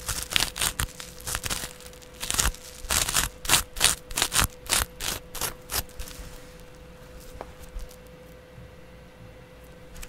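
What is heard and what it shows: A yellow porous foam kitchen sponge held in the hand is scratched with a double edge razor blade held by fingers with long nails. The result is a rapid, uneven series of bright, rasping scratch strokes over a faint steady hum for about six seconds. These trail off into softer, sparse scratches.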